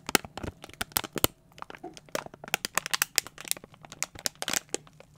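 A small, hollow, clear thin plastic container with a lid and a label strip on top is held in both hands and squeezed and crinkled with the fingertips. It gives a rapid, irregular run of sharp, bright crackles and crinkles, with a brief quieter stretch of soft rustling near the middle. Each snap is dry and stops almost instantly, with little low end.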